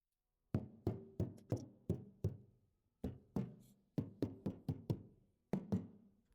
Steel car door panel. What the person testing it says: Nice and tinny there, with that factory soundproofing underneath